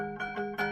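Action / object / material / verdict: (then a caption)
flick / steel spiral scroll saw blade / steel / tight. A steel Pegas No. 5 spiral scroll saw blade, held in adapter clamps at the top and bottom of the saw with the tension lever set at the back, is plucked to check its tension. It gives short, bright, ringing pings with a clear tone near 730 Hz and harmonics above, each fading quickly. The ping shows the blade is properly tensioned and tight enough.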